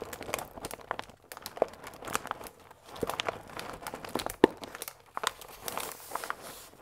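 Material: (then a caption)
Paper. A full paper fusilli bag with a plastic window is turned on its side and squeezed with fingertips. It gives a steady run of soft, dry crinkles and small crunches in the mid range, each snapping off with no ring. A few sharper crackles stand out from the quiet, rustling texture.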